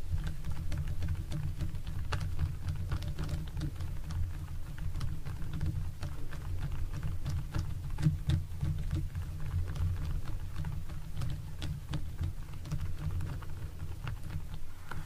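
Fingertips tap and pat a thin, flat, long pink silicone face-shaping belt with slots as it lies flat on a wooden table. Quick, soft, dull taps and light clicks scatter over a steady low hum that holds through the whole clip, with each tap dying away almost at once.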